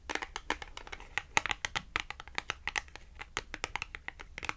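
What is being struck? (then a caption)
Small glossy cardboard clothing tag. Long acrylic nails tap and scratch a small, thin, flat red glossy-coated cardboard Tom and Jerry clothing tag. About thirty quick, bright clicks and crisp scratches with almost no ring form a steady irregular patter, with little low-end weight.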